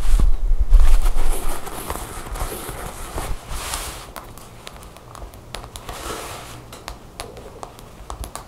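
Long nails quickly tap and scratch a black cotton jacket with buttons lying on a table. Rapid, uneven soft taps and scratchy fabric rustles are louder at first, then settle into quieter scratching with occasional sharper clicks.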